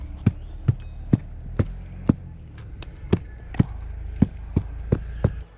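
Someone knocks repeatedly on the trunk of a tree being dismantled, one that ants have damaged and whose wood is all rotten. Each knock is a short, dull, low thud with no ring, repeated at a steady pace. The trunk sounds hollow.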